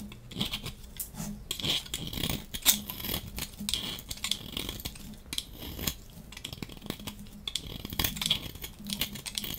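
A dry, solid yellow striped soap bar is held in the hand and scraped along its edge with a metal box-cutter blade, so flakes pile up. The result is a continuous run of quick, dry, bright scraping and crackling strokes with a faint low hum underneath.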